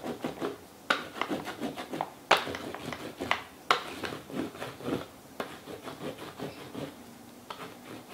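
The side of a wax crayon is rubbed back and forth across a sheet of paper held in a small purple-and-teal plastic Fashion Plates frame over a raised plastic relief plate, which lies flat on a dark towel and is held by one hand. The result is a dry, scratchy rasping of quick, irregular strokes with occasional sharper, brighter scrapes, bringing out the relief.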